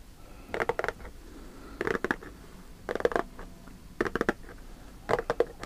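Fingertips and nails scratch and pull at the top edge of a closed, likely full Lotte custard cake cardboard box. Five short bursts of dry, papery scraping and creaking come about once a second, each a quick cluster of scratches with a mid-range tone and a brighter rasp. Quiet pauses fall between the bursts.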